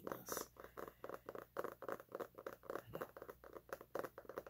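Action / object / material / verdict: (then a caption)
tap / hardcover book with laminated cardboard cover / cardboard / none. Fingertips and nails scratch and tap the glossy laminated cardboard cover of a large, solid, closed hardcover paper cookbook held upright against the chest. About 25 quick, soft, dry taps and scrapes land in an irregular patter, each with a papery mid-range tone and almost no ring.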